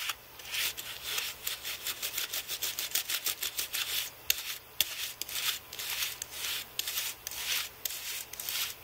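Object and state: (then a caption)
Computer keyboard brushed clean. A carbon-fibre brush held in one hand sweeps across a thin white Apple keyboard with plastic keys on an aluminium base, in repeated rubbing strokes along the key rows. Each stroke is a short, bright, airy bristle scratch with almost no low end, with about two strokes a second at a loose, uneven pace. Faint clicks from the keys pop through in places.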